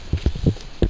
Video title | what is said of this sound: Yellow Hat Inspections Frisco Richardson Allen Plano McKinney Call 972 832 3460 | it wasn't enough adhesive put down you can hear how it sounds Hollow